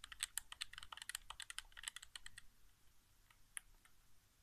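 Fingertips tap the face buttons and thumbstick of a hollow white plastic PS4 game controller resting on carpet. A quick run of sharp, bright plastic clicks fills the first couple of seconds, then thins to softer, scattered taps with one crisp click near the end. Each click is dry and stops instantly.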